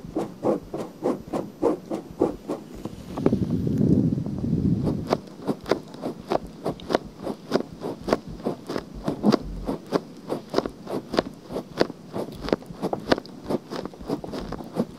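Fingertips and nails scratch across the outer ear of a pale pink silicone binaural microphone, making dozens of quick, dry scratching strokes at a steady, brisk pace. Partway through, the strokes briefly blur into a louder, lower, muffled rubbing before the crisp scratches return.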